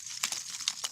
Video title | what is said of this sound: Bio char and soil management😀🌷🌻 | it kind of sounds like glass